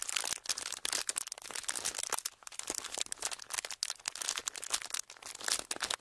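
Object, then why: Thin clear plastic wrapper. A small, empty, folded clear plastic wrapper is held close to the mics and crinkled and squeezed between thumbs and fingertips. It makes dense, bright crackling and crisp snapping in quick irregular bursts, with almost no low end. The sound runs continuously through the clip, rising and falling slightly.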